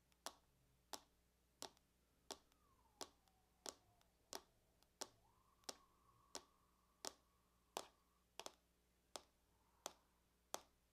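Long acrylic nails tap in a circular pattern on the lid of a closed silver aluminum laptop lying on a table, its thin hollow shell giving a bright, dry click. Sixteen sharp taps come at a steady unhurried pace, each dying away almost instantly, with a faint wavering tone in the quiet background.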